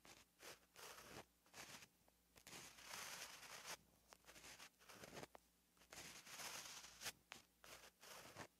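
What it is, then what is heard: Pen writing on a paper notebook page. A gel pen held in the hand writes Korean letters on a flat, lined paper notebook page, its tip scratching across the paper. Bright, dry scratching strokes come in short bursts and longer sweeps, separated by brief quiet pauses over a faint low hum.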